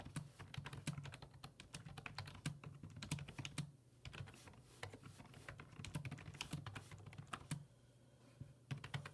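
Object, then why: Plastic computer keyboard keys. Fingertips type on the hollow plastic keys of a black plastic full-size computer keyboard resting on a wooden desk. The result is a steady run of quick, sharp taps with bright clicky tops over a low, dull thump, each one dying away almost at once. The typing eases into softer stretches around the middle and near the end.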